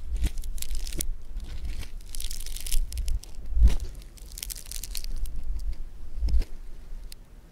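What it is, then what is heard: Foam bead clay (floam) being squished. Blue foam bead clay (floam) is stretched apart by fingers, then pressed with fingertips on a table. Bright, dense crackling and tearing bursts come in waves over a constant low rumble, with a few sharper crunchy pops standing out. It fades to quieter crinkling at the end.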